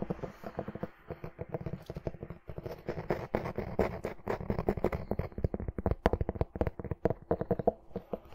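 Long nails tap and scratch across the gilt-embossed cover of a medium red hardcover book, held closed in one hand. The result is a rapid, irregular run of dry, muffled taps with soft scratching between them. The sound is weighted toward low and middle tones, and each tap dies away instantly.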